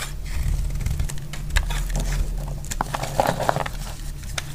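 A solid bar of dry red soap, held in the hand, is shaved and cut with a metal utility blade, breaking off flakes. Short, dry scraping and crackling cuts sound over a steady low rumble, with a few sharper crisp snaps as pieces come away.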